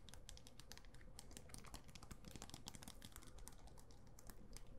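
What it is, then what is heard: Mirror-tile disco ball. A small hand-held disco ball, about palm-to-grapefruit size and covered in small glass mirror tiles over what is probably a hollow or foam core, is held in one hand and tapped and scratched across its tiles with long acrylic nails. Rapid, dense, bright clicks and ticks follow one another steadily and fade quickly. They sit over a quiet, low, constant background hum.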